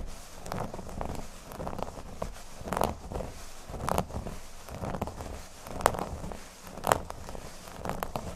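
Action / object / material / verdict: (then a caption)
scrape / cork board / cork / none. Fingernails scratch the surface of a flat, thin, solid cork board lying on a table. A steady, soft, dry scratching and crackling runs throughout, with occasional louder, brighter strokes standing out. The sound stays quiet and close, with no ringing after each stroke.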